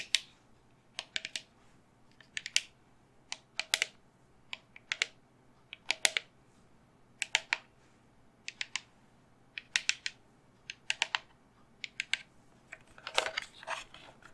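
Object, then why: Resin skull candle holder. A resin skull candle holder, held in both hands, is tapped rapidly with long fingernails. Short, bright, clicky taps come in quick clusters with pauses between, each dying away almost at once. A denser, rougher flurry of taps near the end is followed by quiet.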